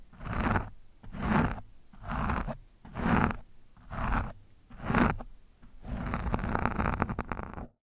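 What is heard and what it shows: A screwdriver tip scratches the front of an orange foam microphone windscreen, giving six separate rough, crunchy strokes. A longer continuous stretch of scraping follows before it cuts off. The sound is low and muffled, with little high-end content.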